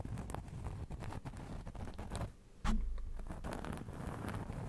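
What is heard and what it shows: A round cork trivet held close to the microphone is scratched and tapped with the fingertips, making soft, dense, low-heavy pattering and rustling. The activity runs almost continuously, dips briefly to near quiet in the middle, then resumes with a sudden louder burst of scratching taps.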